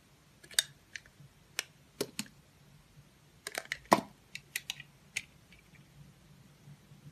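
A metal utility knife blade with a green handle slices thin peels off the surface of a solid, oval, palm-sized blue Absolut-branded soap bar. About 13 short, crisp, bright scraping clicks arrive at an irregular pace, each dying away almost instantly, over a quiet, low background hum.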